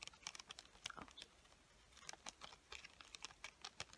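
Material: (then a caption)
Plastic. Long nails tap and scratch a hand-sized package of clear plastic full of colored pencils while it is held in the hands. The result is a quiet, bright patter of quick, crisp clicks and light scratches, with a brief lull near the middle before the tapping resumes.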